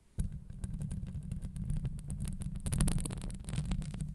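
Long acrylic nails scratch a hollow steel wire-mesh microphone grille, first across the top and then along the sides. The sound is a continuous, deep rumbling scrape centred low around 150 Hz, scattered with quick, faint bright ticks. It starts abruptly and keeps a steady, throbbing loudness to the end.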